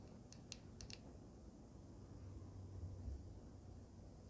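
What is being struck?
Small handheld device with resin panel and metal frame.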